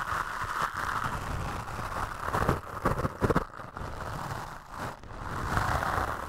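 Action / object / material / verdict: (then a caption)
scrape / foam microphone windscreen / foam / none. Toothbrush bristles brush and scratch across a black foam windscreen on a microphone, making a steady, close rustling scrape with a strong midrange hiss and a low, dull rumble beneath. The strokes grow louder and choppier in the middle, drop briefly quieter, then settle back into continuous brushing.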